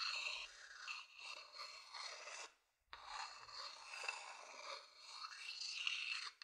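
A thin wooden stick scratches the outer surface of a hollow, empty wooden bowl held beside the mic. It makes a bright, dry, continuous rasping with wavering intensity. A brief silent pause breaks it into two long stretches.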